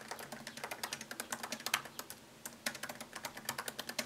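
Fingertips type on a MacBook Pro laptop keyboard with plastic keycaps set in an aluminium body. About 31 quick, bright plastic key clicks come in a steady run, pausing briefly near the middle before the typing resumes. Each tap dies away almost at once.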